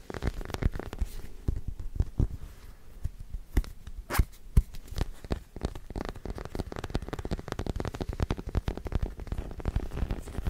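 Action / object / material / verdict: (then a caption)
tap / small plastic figure / plastic / none. A small white plastic acupuncture doll is held close to the mic and tapped and scratched with fingertips and short nails. It makes a dense run of dull, bass-heavy taps and quick scratchy crackles that stop dead with no ring.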